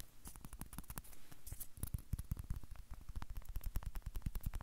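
Fingertips and nails scratch rapidly along the peel of a whole unpeeled banana held in both hands. The result is a quiet, dense run of short, dry scratching strokes with soft low thumps and bright, crisp edges, each stroke dying away almost instantly.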